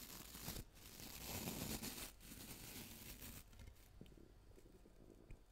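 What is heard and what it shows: A small round brush with a transparent plastic body and many white plastic bristles is held in one hand close to the mic while fingertips scratch and tap the bristles and body. Dense, bright, crackling bristle scratching fills the first three and a half seconds with brief pauses, then gives way to quieter rustling and soft plastic taps, with one sharper tap near the end.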